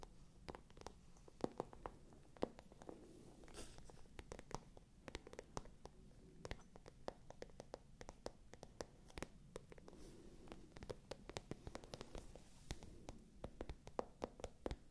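A small, hollow, pale pink glossy patent leather clutch bag, with a gold chain strap hanging to one side, is scratched with long nails. Quiet, dry scratching runs throughout, broken by many sharp, brief clicks and taps that die away instantly over a soft low rumble.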